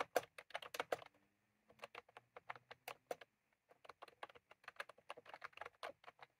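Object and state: Plastic keyboard with round keycaps being typed on.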